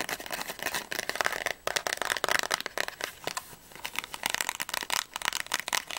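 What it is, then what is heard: Cardboard candy box. A small, closed and apparently full printed cardboard box of Ahoj-Brause fizzy candies is held in both hands, tapped with fingernails and squeezed. The result is a fast, continuous run of sharp, dry, papery taps and crinkles that are bright and thin with almost no low end, each tap dying away instantly.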